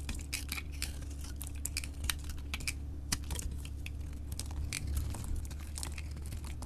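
A solid orange bar of soap with a copper-painted coating is held in the hand and carved and scraped with a utility knife blade, sending flakes falling off. Quick, crisp scraping and crackling cuts sound as short bright ticks over a steady low hum, with each flick dying away almost at once.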